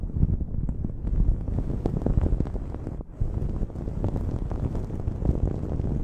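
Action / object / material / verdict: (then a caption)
scrape / cotton terry towel / cotton terry / none. A blue cotton terry cloth towel is draped over a microphone while long acrylic nails scratch and grip the fabric. The result is a continuous, muffled, bass-heavy rustling with many soft scratchy strokes and a brief dip in the middle.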